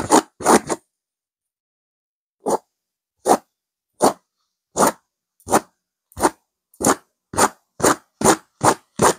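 Long fingernails on both hands scratch a stuffed pillow with a purple velvet cover and a silver geometric pattern. Three quick, rough scrapes come first, then a pause, then a steady run of dry, bright scratching strokes that speed up toward the end.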